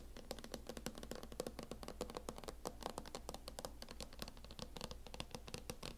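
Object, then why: Plastic hard-shell laptop case tapped with fingernails. Long acrylic nails tap rapidly across a closed laptop in a mint matte plastic hard-shell case. Each tap is a short, dry, hollow click that dies almost at once, with a midrange tone near 500 Hz and bright clicky tops. A steady low hum runs underneath throughout.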